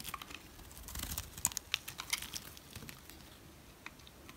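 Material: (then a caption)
Soap. A utility knife scrapes the surface of a solid brown rectangular dry Dalan soap bar. It makes dry, crisp crackling and crumbling scrapes with sharp, bright ticks that are loudest around the middle. The sound then thins into softer, quieter scratching.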